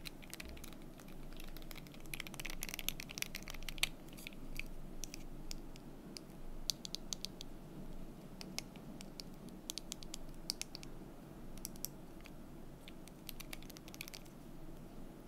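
Fingertips and long nails tap and click on the solid cubes of a painted wooden desk calendar sitting in its stand. Quick, bright, dry clicks come in irregular clusters over a quiet, steady low background rumble. Each tap dies away almost instantly.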